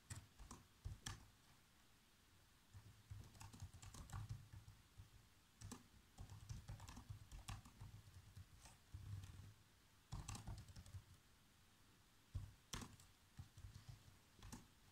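Fingertips of both hands type rapidly on the black plastic keys of a laptop keyboard, typing out a movie script. Bursts of quick, dry clicking taps come with short pauses between them, each tap having a soft low thump under a brief bright click that dies away almost at once.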